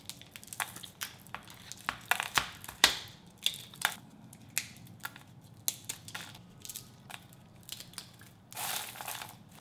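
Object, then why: Honey-glazed walnut clusters. Bare fingertips break and crumble small, solid clusters of honey-glazed candied walnut brittle on parchment paper over a wooden board. A steady series of sharp, bright cracks and crunches comes with crackling bits between them, ending in a longer gritty crumbling burst.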